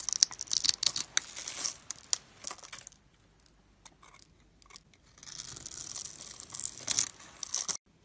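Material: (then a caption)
Soap. A metal blade carves a solid white rectangular bar of soap, scored in a grid and held in the fingers, so small cubes crumble off. Bright, crisp scraping and crumbling crackles come in dense bursts, fade to near silence in the middle with a few faint ticks, then return as a steady, gritty scrape before stopping abruptly.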